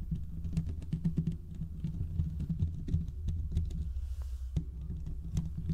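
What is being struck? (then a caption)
Steel mesh microphone grille. Fingertips and short nails of both hands scratch the hollow, domed steel mesh grille of a large desktop condenser microphone. The sound is a dense, boomy low rumble full of quick scratchy taps and brief clicks, with a short lull near the end before the scratching resumes.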